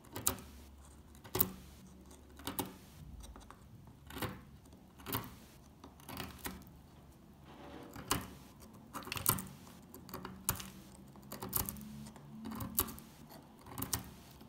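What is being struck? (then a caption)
Bar of soap scraped with a metal pick. A solid, dry, old dark green soap bar held in the hand is scratched and picked with a metal pick, so flakes break off its surface. Short, bright crunching scrapes recur at an uneven pace against a low background hum, each dying away almost at once.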